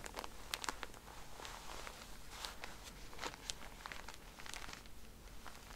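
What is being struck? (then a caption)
Plastic-wrapped pack of cotton pads. Long nails tap and scratch the plastic wrapper of a pack of cotton pads, making quiet, bright crinkly clicks and rasping scrapes with very short ring. The taps come in irregular bursts over a steady low rumble.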